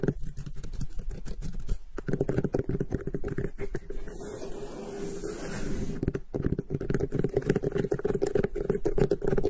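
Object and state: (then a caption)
Cantaloupe melon. A large, solid whole cantaloupe with a rough netted rind, resting on grey fabric, is tapped and scratched on top by both hands with long pink-painted nails. Rapid, dull, low-pitched tapping and scraping patter with a faint steady tone runs throughout. It eases into a softer continuous scratch in the middle before the quick tapping returns.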